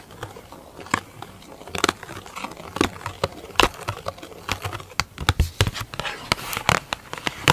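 A large, hollow, round black plastic lid with a clear plastic top is tapped and scratched with long acrylic nails. Many sharp, quick clicks ring out over a soft, crackly scratching texture, each tap dying away almost instantly.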